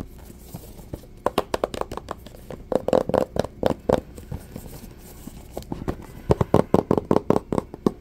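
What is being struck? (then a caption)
Small cardboard box. A small, hollow white cardboard box for a Samsung Galaxy S III is tapped on its sides with fingertips and short nails. It gives a run of short, dry, hollow knocks, some spaced and some in quick bursts, with a dull mid-range body. Each tap stops almost instantly.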